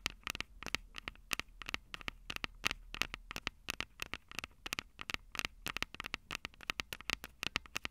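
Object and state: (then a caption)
Fingernails tapping metal microphone capsules. Long purple nail tips tap the silver metal mic capsules of a Tascam DR-05 handheld audio recorder. About 45 quick, bright, dry clicks follow in an uneven stream, each cutting off instantly with no ring.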